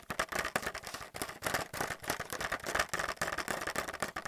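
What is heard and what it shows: Fingernails rapidly tap and scratch a blister pack of white plastic paint palettes held up in the air. The result is a dense, fast string of light, crisp plastic clicks and scrapes. Each clicks dies almost instantly, and the sound is centered around 1.2 kHz with a bright top and very little low end.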